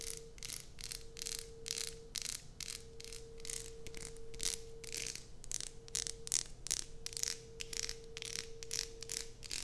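Long nails tap and scratch the surface and edges of a solid light-blue bar of soap held in a hand. The result is a rapid series of dry, bright, scratchy bursts with almost no ring, each cut off sharply. A faint steady tone hums underneath throughout.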